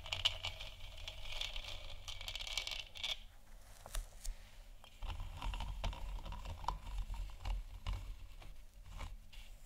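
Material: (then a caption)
Plastic. Long nails tap and scratch the sides of a large, hollow, 3D-printed plastic moon lamp sphere that glows white. A bright, papery scraping hiss fills the first few seconds, followed by scattered sharp, dry taps over a low, dull thumping undertone.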